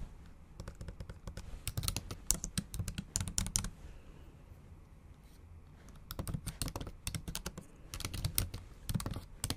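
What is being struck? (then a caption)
Keyboard with plastic keys, tapped with long nails. Long acrylic nails type on the black plastic keys of a MacBook Pro laptop keyboard set in an aluminum body. Quick bursts of sharp, bright clicking taps run for several seconds, pause into a quiet stretch, then resume. Each tap ends almost instantly.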